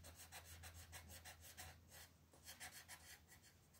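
A green colored pencil, held in a hand with long red nails, scratches across a flat, thin paper coloring book page on a table, filling in leaves while the other hand rests on the sheet. Quick, repeated rubbing and scratching strokes make a soft, bright rasp that swells and fades with each stroke. A faint, steady low hum sits underneath.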